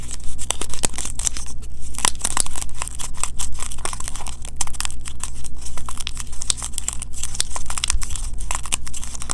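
Fingertips and medium-length painted nails rapidly tap and scratch the surface of a small, closed, green printed cardboard box of Kirk's Castile soap held in both hands. The result is a fast, dense stream of short, dry clicks and bright, papery scratches that crinkle like tearing, over a steady low hum.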